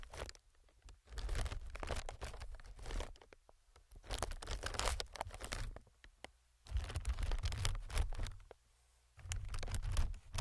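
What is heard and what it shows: A single fingertip taps and scratches the film of a clear, hollow, inflated multi-chamber plastic air packing pillow. Bursts of crinkly, bright scratching and soft tapping ride over a low, hollow thump, separated by brief quiet pauses.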